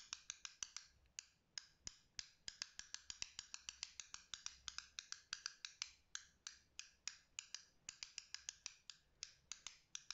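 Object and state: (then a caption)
Plastic fidget cube clicks. A small black and green plastic fidget cube is held in the hand while fingertips flick its green joystick and switch and tap its buttons. About 49 sharp, bright clicks come in quick, uneven bursts, each stopping almost instantly with no ring.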